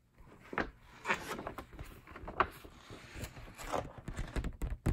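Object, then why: Large printed paper poster. Fingertips and short nails tap on the surface of a large printed paper group poster held up in view. The result is a run of soft, dull taps with a light papery rustle between them. Each tap dies away almost at once.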